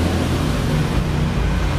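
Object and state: Nothing is struck.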